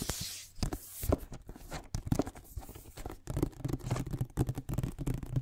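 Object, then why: Glossy cardboard box. A glossy printed cardboard iPad box, flat and hollow, is tapped and scratched across its printed face and edges with fingertips and nails close to the microphone. Soft, dull taps and papery scratching come in quick uneven bursts, mostly low and muffled, with brief bright hiss from the nails.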